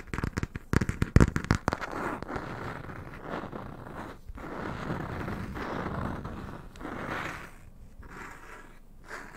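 A small yellow closed hardcover book with a printed paper-covered board cover is held close up while fingernails and fingertips of both hands tap and scratch its cover. A quick cluster of sharp, dry taps in the first two seconds gives way to steady, low scratching and rubbing that rises and fades in waves.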